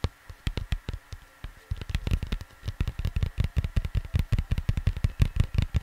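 Fingers tap on a cardboard vinyl record sleeve in an irregular, quickening rhythm of soft, low, dull thumps. Each tap is short and dry with a brief bright click on top. A faint steady hum runs underneath.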